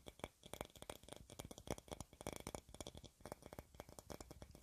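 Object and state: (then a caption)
Glass jar tapped with fingernails. A clear, hollow glass jar or bottle about 20 cm tall, decorated with yellow flower shapes, is held in both hands and tapped with long red nails. Quick, uneven bursts of short, bright clicks and taps follow one another, each dying away almost instantly.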